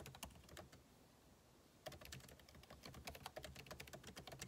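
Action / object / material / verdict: tap / laptop keyboard, plastic keys in aluminium body / plastic / none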